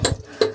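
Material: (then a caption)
Rock. Two short taps on a rock boulder, lower down, each a bright clicking knock with a brief ring around 430 Hz that fades quickly. The boulder sounds hard and solid at this spot.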